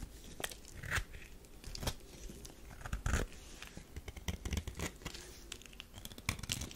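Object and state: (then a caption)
Soap bar scraped with a knife. A metal knife scrapes crumbly shavings from a thin slab of tan bar soap held in the palm. Dry, crunchy scraping and crackling comes in short bursts, some sharper strokes standing out with a bright edge over a low, dull body.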